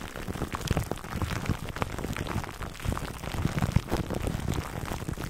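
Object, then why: Foam microphone cover wrapped in plastic film. A foam microphone cover wrapped in clear plastic film is scratched by fingertips, giving a dense, steady crackle of crinkly plastic with many short snaps over a low, muffled rumble. The close scratching stays busy and even for the whole clip, heavy in the low end with little high brightness.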